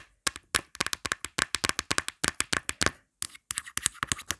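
Long black acrylic nails tap and scratch quickly on the back and round pop grip of a thin, hollow, marble-print plastic phone case. The result is a rapid stream of sharp, bright, dry clicks with almost no ring and little low end, broken by one brief pause near the three-second mark.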